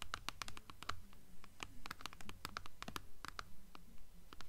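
Long acrylic nails scratch the paper dust jacket along the spine of a blue hardcover book. The result is a quick, fairly steady run of short, dry scratchy strokes with bright crisp edges over a soft low rumble.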